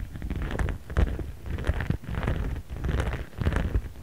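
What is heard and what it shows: A jade roller is rubbed and rolled back and forth across a clear, transparent pink printed plastic pouch lying flat and held with one hand, moving to different spots. Soft crinkling, scraping swells rise and fall in uneven passes over a deep, rumbling low end, with brief sharper clicks inside each sweep.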